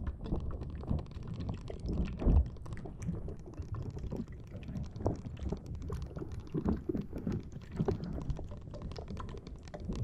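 A green rubber spiky squishy ball is held in both hands, squeezed and scratched with long dark-blue nails so its rubbery spikes flex. The result is a steady stream of soft, low, muffled squishing and dense clicky scratching, with a few louder squeezes along the way.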